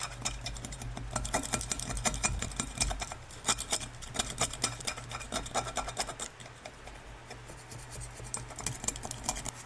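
A small tool scrapes along a repaired crack seam filled with gold-colored lacquer on a hollow, empty brown glazed ceramic bowl held in purple-gloved hands. The result is quiet, irregular scratchy clicks and rasps with bright, crisp edges over a steady low hum, easing off slightly in the second half.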